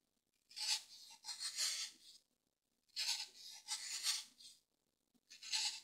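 A solid, grey, roughly hand-sized dry floral foam brick is held flat on a table with one hand while a pointed tool with a green handle scratches and carves crosshatch lines into it, flicking off foam chips. The sound is a series of dry, bright, rasping scrapes in bursts separated by short silences, with almost no low end.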